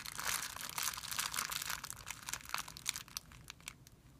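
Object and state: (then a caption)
Plastic film bag crinkling. A hand crumples a thin, clear plastic film bag resting on a white surface while the fingers rub it. The result is a dense run of bright, high crinkles and sharp crackles that grows quieter toward the end.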